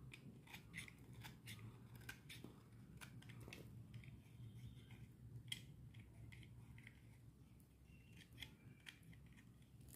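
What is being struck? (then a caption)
Bar of soap shaved with a metal blade. A metal utility knife blade shaves a solid green bar of dry soap held in the hand, scattering crumbs onto the hands. Quick, dry scraping clicks with bright crackly edges repeat steadily over a low, constant rumble.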